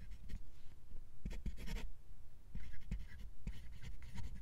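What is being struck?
Steel fountain pen nib on lined paper.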